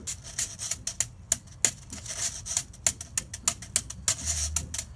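A solid, flat wooden skateboard deck with grip tape, held upright, is struck with two plastic sticks, one pink and one orange, in a rapid, irregular run of taps. Each tap is a short, dry, bright click that dies away almost instantly, over a faint low rumble.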